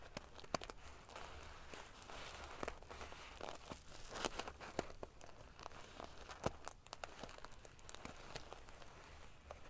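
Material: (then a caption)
Metal sequins. Long painted fingernails scratch and ruffle a large decorative pillow covered in rows of small silver metal sequins sewn onto fabric. The result is a quiet, continuous, prickly rustle of crinkling and scratching, broken by many sharp, bright clicks as the metal pieces flip and tap together.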